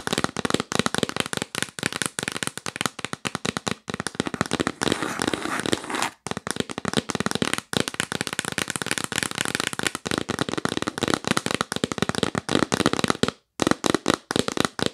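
Long nails tap rapidly on the lid of a hollow, yellow printed cardboard box held upright. The result is a dense stream of short, dry, crackly taps with a bright, papery tone and almost no ring. Brief pauses break the stream near 4, 6, 8 and 13.5 seconds.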